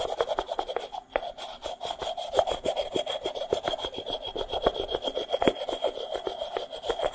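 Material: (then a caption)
Terracotta. A small hollow, unglazed, dry terracotta clay pot made of stacked sections is held close to the mic and scratched and rubbed with fingernails. Quick, rasping scrapes repeat steadily, each one a brief, gritty stroke centered in the midrange with a faint high hiss.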